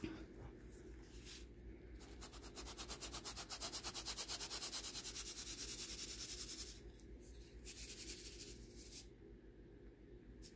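Pinkish-white baking soda clumps are shaken side to side in a round stainless steel wire-mesh sieve held by the rim, so the chunks rub on the mesh and powder falls through. Heard as a quick, fairly steady run of bright, hissy scraping swishes, loudest in the middle, over a low steady hum, then easing into softer intermittent rustles.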